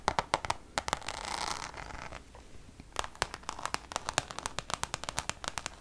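Long nails tap and scratch the face of a Louis Vuitton Damier checkered coated canvas zip pouch. Quick, sharp, dry clicks come in rapid runs, broken early by a soft, bright scratching hiss. A faint tone sits around 860 Hz.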